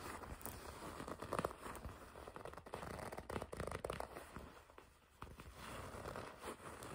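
The black leather of a black and red leather jacket is gripped and rubbed with long red nails. It makes soft, continuous scratching, creaking and crinkling rustles with small sharp peaks. The sound briefly dips quieter around the five-second mark before the rubbing resumes.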